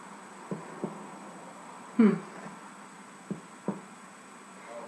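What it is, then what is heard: Soda bread loaf, hollow (baked through). The bottom of a whole wheat Irish soda bread loaf, just turned out of its hot pan, is thumped to test whether it is done. Five dull, low knocks sound apart, with the middle one loudest. It sounds hollow enough, meaning the bread is baked through.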